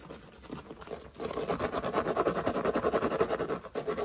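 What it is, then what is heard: Woven straw hat being scratched. Fingertips and nails scratch and rub a large wide-brim woven straw hat with navy trim, worn on the head. A soft, faint rustle for the first second gives way to fast, dry, raspy scratching strokes, about three or four per second in a loosely uneven rhythm. The sound sits mostly in the mid range, with a brief dip near the end.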